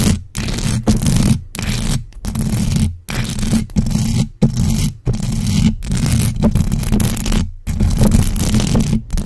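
Long acrylic nails on both hands scratch fast and aggressively across the bare, hollow metal mesh grille of a large black USB microphone. The result is dense, rasping scratch noise with a heavy low rumble and a steady low tone, coming in loud bursts separated by brief silent gaps.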